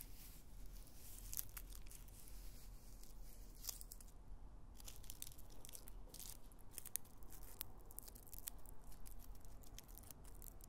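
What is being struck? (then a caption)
Raw onion with papery outer skin. A whole raw brown onion, solid and held in the hands, has its dry papery skin tapped and scratched with long white nails. The loose skin gives a soft, steady crackle with bright, crisp ticks and scratches over a faint low rumble.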